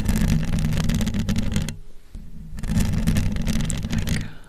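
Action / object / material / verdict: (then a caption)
scrape / metal mesh microphone grille scratched and tapped by fingernails / metal mesh / none. Long almond-shaped acrylic nails on both hands scratch and tap the hollow metal mesh grille on the dome head of a large USB condenser microphone. The result is a dense, rapid, bassy rustle of scratching and tapping that drops out for about a second near the middle, then resumes and fades at the end.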